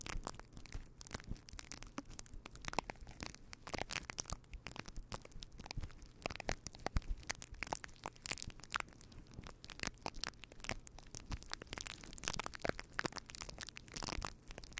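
A fluffy faux fur windscreen on a microphone is rubbed and scratched with the fingertips of both hands. The result is a continuous stream of dense, crackling, crunchy scratches over a steady low rumble, with many sharp, bright bursts throughout the roughly 15 seconds.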